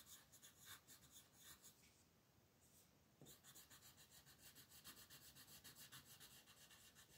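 A dark blue wooden colored pencil rubs and scratches across a thin white paper coloring sheet printed with a mandala, which lies flat on a dark table while the other hand holds the sheet steady. Quick, bright, raspy strokes repeat in a steady back-and-forth rhythm, with a brief softer pause near the middle before the scratching resumes.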